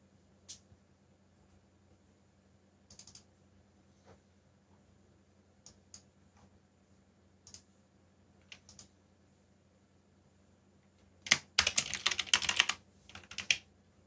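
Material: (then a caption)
Plastic. Fingertips with short nails tap the black plastic keycaps, with Korean and English legends, of a backlit mechanical computer keyboard with hollow key switches. Scattered single bright, short clicks sound over a faint steady low hum for about eleven seconds. Then comes a dense burst of rapid, louder clacking typing near the end.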